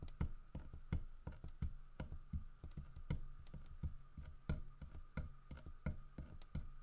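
Fingertips tap the side of a large, solid carved wooden bear statue in a loose, uneven rhythm, about 21 taps in under seven seconds. Each tap is a short, dull, low thud that dies away almost at once, with a faint steady tone lingering underneath.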